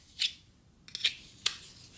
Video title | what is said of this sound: Finished linerlock and the new surgeon design | isn't going to pop out whatever you do you can shake it there's no rattle nothing